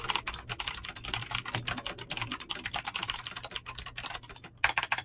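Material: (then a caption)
Plastic. Fingertips fast-type on a mechanical keyboard with clicky green switches and PBT plastic keycaps, giving a rapid, steady run of sharp, bright clicks with very short decay. A soft low hum sits underneath, and the typing pauses briefly near the end before a final burst of keystrokes.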